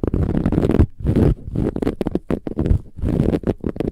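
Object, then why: Filled cushion with a woven metallic fabric cover. Long nails on both hands vigorously scratch a large, soft, filled cushion with a silver-gold textured, metallic woven fabric cover. The result is dense, rapid bursts of low, rumbling, rasping scratches that come in quick clusters with brief pauses between them.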